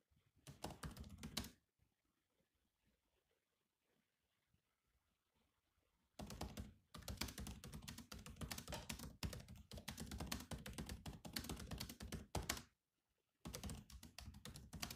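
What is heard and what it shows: Fingertips of both hands type on the low-profile plastic chiclet keys of a grey metal-bodied laptop, making quick, irregular clicky taps with a low thump under each press. A short burst of typing is followed by a few seconds of near silence, then long stretches of steady typing with brief pauses.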